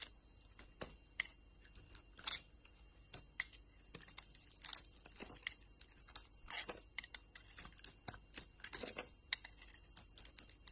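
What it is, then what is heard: Bar of soap being sliced. A solid rectangular soap bar, purple on the outside and yellow inside, is held in a hand with long lilac nails and sliced into thin chunks with a metal utility knife blade. A quiet, irregular series of crisp, bright cutting and crackling snaps is heard, each short and dry with almost no low end.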